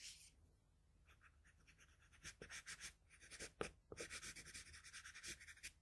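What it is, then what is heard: Pencil on drawing paper. The graphite tip of a wooden pencil scratches and rubs across a flat sheet of drawing paper along the jaw line of a drawing. It makes a quiet, bright, hissy scraping in a quick run of short strokes, with a few louder sharp strokes partway through.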